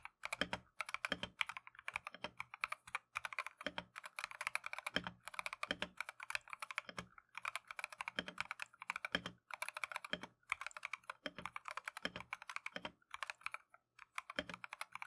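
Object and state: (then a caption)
Plastic mechanical keyboard being typed on. Continuous typing by gloved fingertips on a Keychron V1 plastic mechanical keyboard with Tangerine switches and green/cream PBT Matcha keycaps. It produces rapid, bright, clacky taps with almost no low end and very short decay, broken by brief pauses between bursts.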